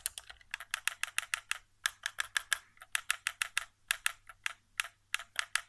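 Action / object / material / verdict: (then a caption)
tap / plastic game controller / plastic / none. Fingertips tap the face buttons and thumbstick area of a white, hollow plastic PS4 controller resting on carpet. About 28 quick, dry, bright clicking taps come in an uneven rhythm with short pauses. Each tap dies away instantly with no ring.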